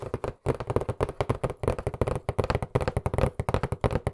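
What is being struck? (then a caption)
Cardboard box. A hollow white cardboard box with black lettering, held in both hands, is tapped fast with fingertips and nails. About 26 quick, dull, hollow taps come in an uneven, aggressive rhythm. Each tap is low and boxy with almost no ring, and there are only brief pauses.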